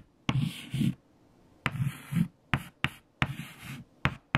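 White chalk held in fingertips writes numbers on a large, flat, erased black chalkboard. Seven sharp taps of the chalk on the board are heard, most followed by scratchy strokes with a low, thumping body and a bright hiss. Short quiet pauses fall between the strokes.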